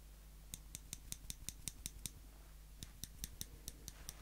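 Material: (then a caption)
Steel. Small steel tweezers held in the fingertips have their tips squeezed together and released, making sixteen sharp, bright metallic clicks in an even rhythm. There is a short pause after the ninth click, and a steady low hum runs underneath.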